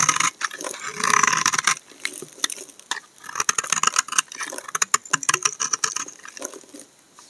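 A solid tan household laundry soap bar is held in the hand and shaved with a utility knife blade, producing flaky shavings. Bright, crisp scraping and crackling strokes repeat in quick, uneven bursts, with dry high-frequency texture and no low end.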